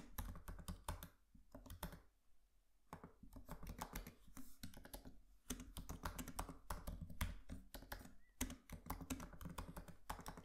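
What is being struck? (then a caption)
Laptop keyboard, plastic keys on a metal body. Fingertips of both hands tap away on a MacBook Pro laptop keyboard with black plastic keys and an aluminium body, producing rapid, soft clicking keystrokes. The typing comes in quick bursts with a brief pause near the start, and each muted, low-heavy tap dies away almost at once.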